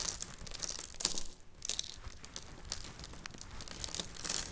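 Finely crushed dry soap flakes, shaved with a peeler and dried into powder, are pressed with flat hands and crumbled between the fingertips. The result is a dense, bright, crackly crinkling made of many tiny ticks over a soft hiss, with brief louder crunches near one second and again a little later.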